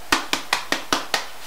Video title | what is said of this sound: Lincolnshire Plum Bread | that's sounding hollow, which can only mean one thing. It's ready.